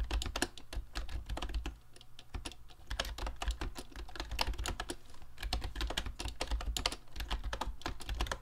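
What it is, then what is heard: Plastic mechanical keyboard. Fingertips of both hands type quickly on a mint-green YUNZII Actto B303 Bluetooth retro typewriter-style mechanical keyboard with round plastic keycaps and a hollow plastic case. The result is a dense, steady stream of short, bright plastic clacks with a hollow low thud beneath each keystroke. A low steady hum sits under the typing throughout.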